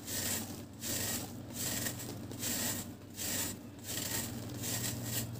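A round, flat, solid dry cement cake is held up in one hand while its surface is scraped and shaved with a metal utility knife blade, shedding powder. Repeated dry, bright rasping strokes come in a loose rhythm, with short quieter gaps between them and a faint low hum underneath.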